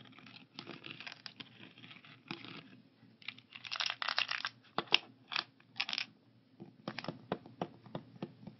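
Fingertips tap the lids of a translucent blue plastic 14-compartment weekly pill organizer holding pills, resting on a wooden table. The result is a run of quick, bright plastic clicks and crinkly rustles, some louder and sharper, with no ring after each tap.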